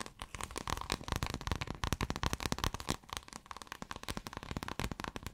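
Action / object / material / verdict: scrape / folded scale-textured iridescent fabric / fabric / none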